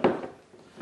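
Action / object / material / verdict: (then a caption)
tap / metal lid on a glass storage jar / metal / solid. Two taps on the vacuum-sealed metal lid of a glass food storage jar, its lid concave and sucked down. Each tap gives a short, dull, solid knock that dies away almost at once, showing the jar is properly sealed.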